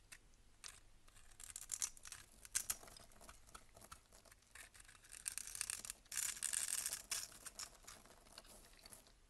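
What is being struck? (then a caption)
Bar of soap cut with a blade. A box-cutter blade scrapes small cubes off a solid cream bar soap held in the hand. The result is quiet, bright, crisp scraping and shaving sounds in irregular bursts, louder near the middle and the end, with almost no low end.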